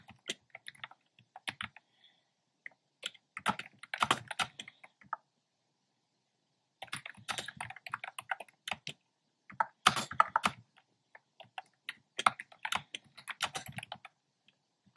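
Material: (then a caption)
Plastic. Fingertips type on a black plastic keyboard with hollow round pastel retro keycaps. Bursts of rapid, dry, clicky keystrokes are separated by short pauses, each click short and bright with almost no low end.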